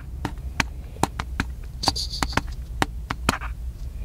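Fingertips and nails of one hand tap a small black plastic handheld camcorder with a hollow body, held in the other hand. Twelve short, dry, hollow taps ring out at an irregular pace, each dying away almost instantly. A brief bright hiss passes midway over a steady low hum.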